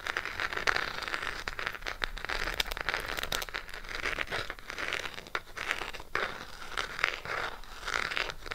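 Long pink acrylic nails tap and scratch on the closed cardboard case of a small burgundy Harry Potter Gryffindor eyeshadow palette. Dry, crinkly scratching runs throughout, broken by quick, sharp taps that stop instantly. The sound is bright and papery, with little low end.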